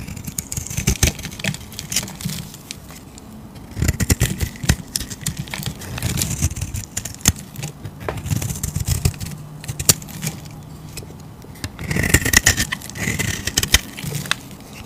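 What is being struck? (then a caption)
Soap bar scraped with a blade. A solid green soap bar is scraped with a utility blade, peeling off curls and flakes. Dense crackling, scraping strokes with many sharp ticks come in waves over a low rumble, with brighter, hissy passes standing out near the middle and end.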